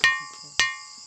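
A gong stone, called kontu mondi or "sounding stone" in the Muna language, is struck twice. Each strike gives a sharp attack and a clear metallic ring pitched near 1.8 kHz with bright overtones, which fades slowly. The stone rings like a gong, as it should.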